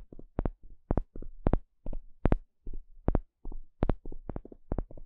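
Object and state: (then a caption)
Wooden paddle stick. A small plastic pick pokes and scratches a thin, solid, flat wooden spatula-shaped paddle stick. It makes a quick series of short, dry, close-up taps and scrapes, each stopping almost at once. The sound is soft and weighted toward low, muffled thumps, with occasional brighter clicks.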